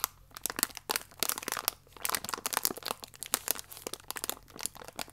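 A thin plastic biscuit wrapper, held vertically, is scratched with nails and crinkled with fingertips. The result is a steady run of bright, crisp crinkles and sharp crackles in quick bursts with brief pauses, with almost no low end.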